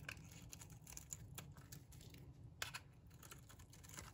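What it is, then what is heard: Dry bar soap being cut. A metal blade cuts and shaves curls off a solid, dry pink bar of soap. The result is a quick run of crisp, bright scraping and crackling ticks over a low rumble, with a sharper snap near the middle.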